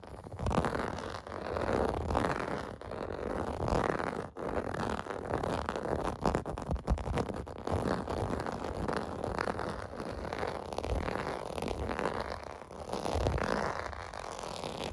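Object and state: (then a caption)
Plastic bath mat being scratched. Fingertips and nails scratch the raised bubble bumps of a clear-blue plastic bath mat lying on carpet. A continuous, dense scratching rasp centered in the low mids, with steady bumpy textures and little high-end brightness, runs throughout.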